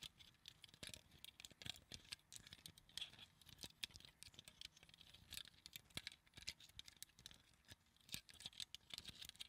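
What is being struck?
Small plastic claw hair clip.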